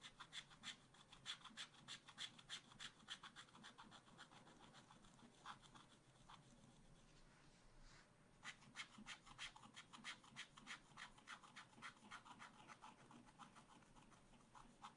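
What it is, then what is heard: Scratch art paper being scraped. A wooden stylus scratches the coating off a black-coated scratch art card in a spiral pad resting on a table. It makes quick, bright, dry rasping strokes in a steady rhythm, with a brief pause around the eighth second before the scratching picks up again.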